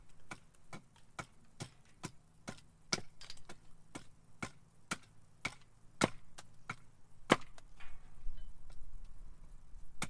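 A steel carving axe chops and splits a solid, roughly forearm-length blank of split cherry wood held upright on a log chopping block. A steady series of short, sharp woody chops with brief splintering cracks, each dying away almost instantly over a low background rumble that rises slightly toward the end.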